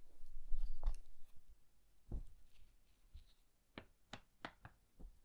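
Fingertips flip, riffle and rub the thin, yellowed paper pages of an old hardcover book with a red cloth cover, held open close by. A longer, soft papery rustle opens the clip, followed by a series of quiet, short page flicks separated by near silence.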